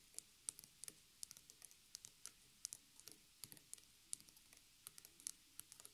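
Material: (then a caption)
Cotton canvas. Both hands tap rapidly with fingertips and long nails on the fabric-covered side edge, where staples are visible, of a small white stretched cotton canvas on a wooden frame lying on a table. About 31 quiet, sharp, bright clicking taps sound in an irregular patter, each dying away almost instantly.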